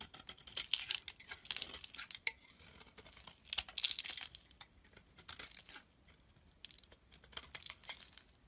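A box-cutter blade shaves thin flakes off a solid bar of soap with a white core held in the hand. The result is bursts of quick, dry scraping and crisp cutting strokes, bright and papery with almost no low end, separated by brief quieter pauses.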